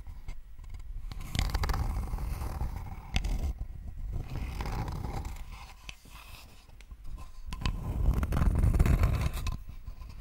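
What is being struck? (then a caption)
Thin wooden board. Long nails scratch a thin, flat, rectangular wooden board held in both hands in front of the microphone. The result is a continuous, rough scraping texture in uneven strokes, with a heavy low rumble under faint bright scratch detail. It briefly quiets midway before swelling again.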